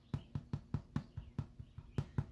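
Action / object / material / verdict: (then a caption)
tap / wheat bread loaf / bread / hollow. A freshly baked honey cinnamon wheat loaf, just pulled from the oven after 35 minutes, is tapped on top in a steady, evenly spaced series of short, dull, low thumps. Each knock is hollow-sounding with almost no ring, showing the loaf is baked through.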